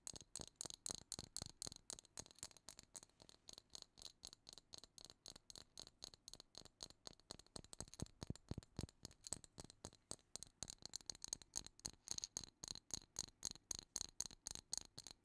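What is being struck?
Plastic jar filled with small seashells.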